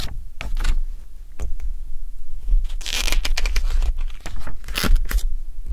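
Fingertips with nails hold, flip and rub the glossy paper pages of an open Elle fashion magazine, UK July/August 2023 issue, a thick solid stack lying on an orange towel. Dry, crinkly rustles and swishing page turns come in short bright bursts that swell and fade over a steady low rumble.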